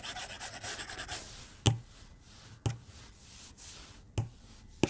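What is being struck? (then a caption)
Glass tablet screen rubbed with a plastic stylus. A white plastic stylus tip rubs quick, repeated shading strokes across the glass screen of a tablet lying flat on a desk, making a dry, bright scratching for the first second. The strokes then give way to quiet hiss broken by four sharp, short taps of the tip on the glass.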